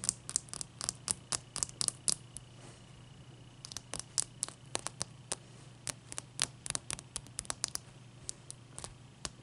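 Long fingernails tap and scratch the sides and top of one solid clear ice cube resting on a towel. A rapid, uneven run of sharp, bright clicks with almost no ring is broken by soft scratchy rustles, over a faint low steady hum. The tapping pauses briefly around the third second before resuming.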